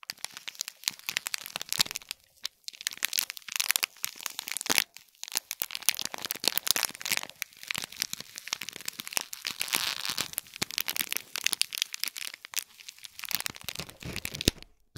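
Long fingernails scratch along the top edges of a small hollow gift box wrapped in shiny gold film with a gold cord bow, resting on a gold plate. The result is dense, bright crinkling and crackling with rapid sharp ticks and almost no low end, rising and falling in short bursts with brief quiet gaps.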